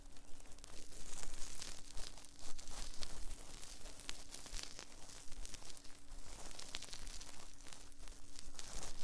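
Cotton swabs held in both hands rub and scratch inside the soft silicone ear molds of a binaural 3Dio microphone. The result is a steady run of close, crackly scraping and rustling with many quick, bright scratchy bursts over a deep low rumble, plus a faint steady hum throughout.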